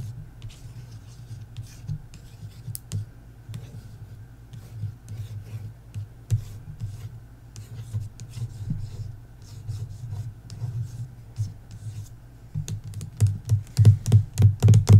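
Long nails scratch and tap the glossy paper dust jacket of the hardcover novel "Belladonna" lying flat. Soft, low rasping rubs and scrapes run throughout, with short, dry taps that turn denser and louder near the end.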